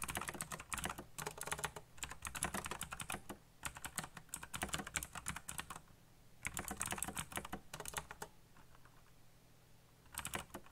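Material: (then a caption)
Plastic. Fingertips tap quickly across the keycaps of a backlit black plastic mechanical keyboard in rapid bursts of bright, sharp clicks that die away almost instantly. Short pauses break up the typing, and a faint low hum continues underneath throughout.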